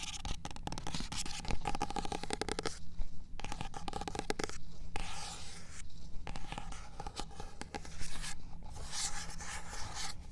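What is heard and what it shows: A fingernail taps and scratches across the solid card back cover of a paperback copy of "In Cold Blood" standing on a shelf, and fingertips brush over it. The result is close, dry, rapid scratching and light tapping with soft brushing, over a steady low hum.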